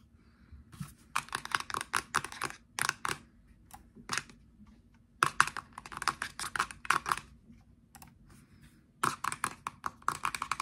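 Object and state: Plastic shower gel bottle.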